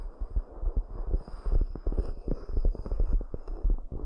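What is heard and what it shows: Long nails tap and scratch the outer walls and rims of two identical round, hollow, empty cork coaster bowls. The clip is a steady run of soft, dull, low thumping taps that die away almost at once, mixed with a faint scratchy rustle and a quiet high hiss.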